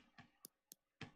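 Five sharp, short taps on a sugar cookie that has been sitting out in the cold for a long time, each a dry, quickly fading knock. The taps show the cookie has gone stale and rock hard.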